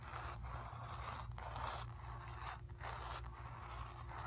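Long pink nails scratch back and forth across the painted surface of a stretched, painted cotton canvas. The result is a continuous dry, scratchy rasp in repeated strokes, concentrated in the midrange, over a steady low hum.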